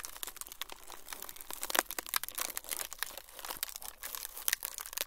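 A thin, flexible, semi-translucent frosted plastic sheet is squeezed and crumpled with fingertips. The result is a dense, continuous run of bright, crisp crinkles and crackles with little low end, each snap dying away almost instantly. The level rises and falls in small swells throughout.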